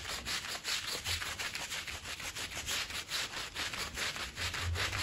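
A green plastic push broom scrubs a small, dirty woven fabric rug covered in foam, making steady back-and-forth strokes. Each stroke gives a bright, rough, wet scratching hiss over a soft low thump, repeating at a brisk, uneven pace throughout.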